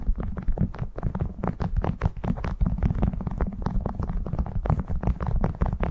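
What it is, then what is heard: Beeswax cloth wrap crinkled. A printed cotton beeswax food wrap, draped over a furry microphone windscreen, is crinkled and scratched by fingertips working the stiff waxed cloth. Dense, rapid crackles and rustles continue throughout, heavy and muffled with most of the energy in a deep low rumble and little brightness.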